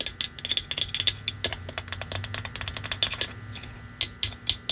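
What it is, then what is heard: Plastic candy-shaped Christmas ornament. A small, hollow, shiny Christmas ornament shaped like a wrapped candy, with a red-and-white striped round center and red metallic fan-shaped ends, is held in one hand and tapped and scratched with long manicured nails. Rapid, bright, crisp clicks come in uneven bursts with very short ring, over a faint low hum.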